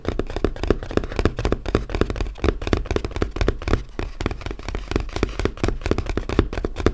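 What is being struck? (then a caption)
Closed corrugated cardboard box. A small, flat, closed, hollow brown corrugated cardboard box lying on a table is tapped with the fingertips and short nails of both hands. A rapid, uneven stream of short, dull knocks follows, with a hollow low thump and a faint bright tick from the nails. Each tap dies away almost at once.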